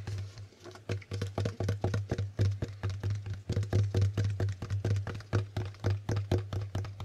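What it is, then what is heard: Plastic Hangman board game tiles. Fingertips click and flip the plastic tiles of a plastic Hangman board game, giving a rapid, uneven run of short, dry plastic clicks. Each click dies away almost at once over a steady low hum near 100 Hz.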